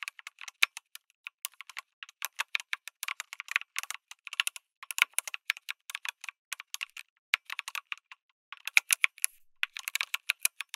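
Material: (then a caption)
Plastic. Fingertips type on a lit mechanical keyboard with an aluminum case and plastic keycaps, producing a steady stream of short, bright, clicky keystrokes with no low-end thump. Each keypress is crisp and dies away almost instantly, with brief pauses between bursts of typing.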